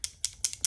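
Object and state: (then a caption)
Liquid foundation bottle with a metal mixing ball rattling inside. A liquid foundation bottle with a little metal mixing ball inside is shaken aggressively, and the ball becomes audible rattling inside. Five quick, bright, dry clicks sound as the ball strikes the bottle, each dying out almost instantly with no low-end body.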